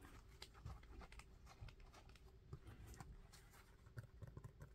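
Fingertips tap and scratch the tread of an orange knit sneaker held sole-up, its dark grey rubber outsole set with orange pads. The sound is a quick, quiet run of dull, low thuds mixed with soft scratchy rustling, each tap dying away almost at once.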